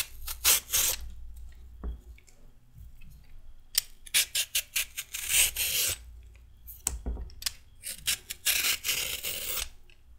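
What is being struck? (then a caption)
Raw carrot shaved with a metal peeler. A red-handled metal peeler shaves a raw carrot, letting ribbons fall away. Quick, bright rasping scrapes come in irregular bursts of short strokes, with quiet pauses between them and a faint low hum underneath.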